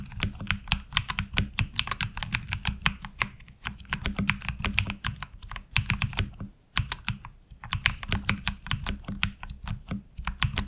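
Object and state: Mechanical keyboard with plastic keycaps.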